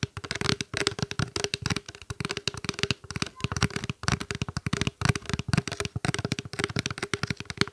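Fingertips and nails of both hands tap quickly on a small, clear, open plastic water bottle held upright, hollow with a little water inside. The result is a dense, uneven run of short, dry taps, each with a hollow low thump and a bright clicky edge from the nails. A faint steady resonance hums underneath.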